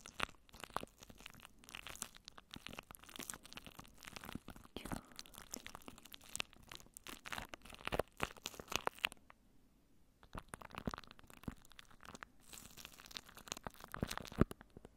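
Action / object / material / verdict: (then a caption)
scrape / plastic cling film wrapped over a microphone / plastic film / none. Clear plastic cling wrap, crinkled and stretched over a microphone head, is scratched and crinkled by long painted nails. The result is a dense run of close, hollow-sounding crackles, crunches and tearing-like rustles. There is a brief near-silent pause partway through before the crinkling resumes.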